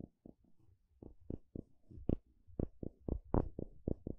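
A curved wooden stick is scraped and flicked along the teeth of a solid blue plastic wide-tooth comb. It makes 13 short, dry, clicky taps at an uneven pace, with faint scratchy rasps between them. The sound is mostly low and muffled, with a few brighter snaps.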